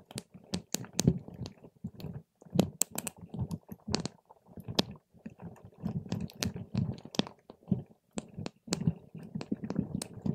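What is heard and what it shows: A paper straw pokes and stirs a clear plastic cup full of purple water gel beads, with some beads rising on top. The result is a steady run of soft, wet squelching and sharp, bright little clicks and pops over a low, squishy rumble, coming in short bursts with brief pauses between.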